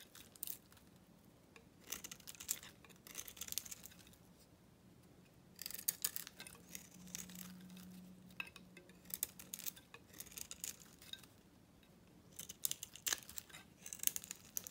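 A metal knife blade shaves a dry, solid white bar of soap with a green painted rim, held in the hand, peeling off white curls. Bursts of bright, crisp scraping and crackling come in uneven clusters over a faint, steady low hum.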